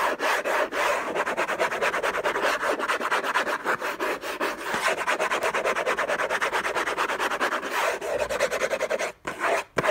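Fingertips and short nails scratch hard and fast across the lid of a closed, long rectangular orange Hermès cardboard box covered in textured paper, with unknown contents, lying on a fluffy blanket. The result is a dense, rapid run of dry, raspy scratching strokes with a steady midrange texture, broken by two brief pauses near the end.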